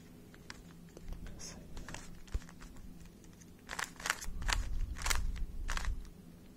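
A small, hollow plastic 3x3 speed cube is held in both hands while fingertips and short nails twist its layers. Irregular clicks and soft rasping turns come over a steady low hum, growing louder and brighter in quick bursts toward the end before settling again.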